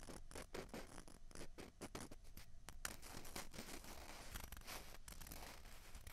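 Long fingernails scratch two small hollow white plastic ping pong balls, one held in each hand. The result is a quiet, continuous run of quick, dry, rasping strokes with bright scratchy texture and no ringing after each stroke.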